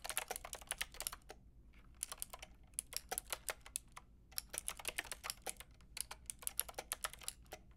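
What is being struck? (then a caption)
Mechanical keyboard with plastic keycaps. Long painted nails and fingertips tap rapidly on a full-size, white-pink backlit mechanical keyboard, Lofree style, with round plastic keycaps and a hollow plastic case. Quick bursts of bright, crisp plastic clicks are broken by short pauses, with each keystroke dying away almost instantly.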